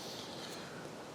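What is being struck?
Nothing is struck.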